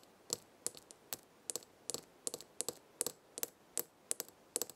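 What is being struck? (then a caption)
Small glass jar filled with herbs. Long red fingernails tap the glass side of a small glass jar full of herbs with a gold lid. A steady run of quick, bright clicking taps, each with a faint glassy ring, fades almost instantly against a quiet background.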